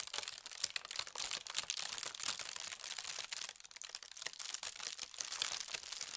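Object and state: Tissue paper sheet being smoothed.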